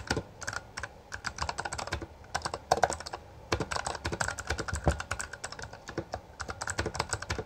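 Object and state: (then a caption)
Plastic mechanical keyboard. Two hands type continuously with their fingertips on a full-size black plastic Bloody B820R mechanical gaming keyboard with backlit keycaps and a hollow housing. The result is a rapid stream of short, sharp clicks and clacks with a bright edge. Each keystroke dies away almost instantly, and a few strikes land noticeably louder than the rest.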